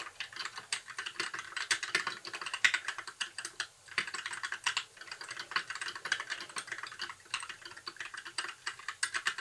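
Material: Plastic.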